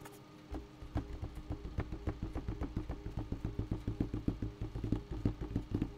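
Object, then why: Bucket. A bucket is tapped in a quick, slightly uneven run of about 21 taps after a short quiet start. Each tap gives a dull, low, hollow knock that dies away almost at once, leaving a faint low hum between hits.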